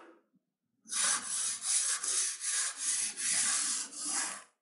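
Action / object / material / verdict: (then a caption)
scrape / glitter-coated kinetic sand block cut with a metal knife / kinetic sand / none. A metal knife with a pink handle slices in parallel cuts through a rectangular, solid block of red kinetic sand with a layer of orange glitter, resting on a white surface. After a brief faint rustle and a pause, a steady run of crunchy, bright, hissy cutting scrapes follows, swelling and dipping with each stroke before stopping abruptly.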